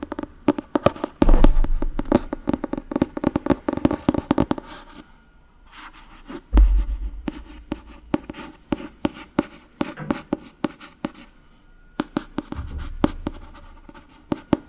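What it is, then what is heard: Paperback book cover. Fingernails scratch the glossy paper front cover of a solid Harry Potter paperback book, making a dense run of quick, dry scratches and clicks. A few deeper, muffled thumps swell up underneath the scratching at intervals, giving the sound a heavy low end.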